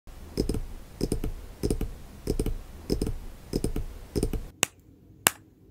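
Fingertips and nails tap on the soft vinyl face of a baby doll with a fabric body, lying on a dark background, striking the cheeks, nose, mouth and forehead and sometimes near the ear of the apparently hollow head. Quick clusters of light, dry taps repeat at a steady pace, each with a soft low thump and a bright clicky edge. Near the end the background goes quiet and a couple of sharp isolated clicks stand out.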